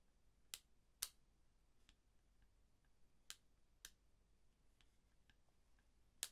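A pair of thin, dark-framed eyeglasses with dark lenses is held in both hands while the fingertips flex the temple arms at the hinges. Five sharp, bright clicks stand out, spaced unevenly, with fainter ticks between them against a quiet background.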